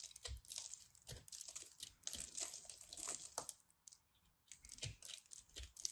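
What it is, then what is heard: Pressed soap ball being carved. A metal craft knife carves and scrapes the surface of a fist-sized solid ball of compressed, colorful soap shavings held in hands with long red nails, and crumbs fall away. Dense, crisp, bright scraping and crunching crackles come in quick bursts, with a short quieter pause before the scraping resumes.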